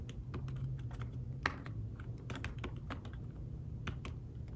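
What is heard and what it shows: Fingertips with short nails type on a thin fabric-covered tablet keyboard case, producing a steady run of short, soft key taps with brief bright ticks. The taps die away almost instantly over a constant low hum, with one slightly louder tap standing out.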